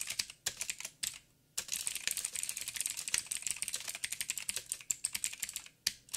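Fast typing with the fingertips of both hands on a backlit mechanical keyboard with plastic keycaps and blue clicky switches. Dense, bright, sharp clicks pour out in rapid bursts, with brief pauses near 1.2 and 5.8 seconds. Each click dies almost instantly, with next to no low end.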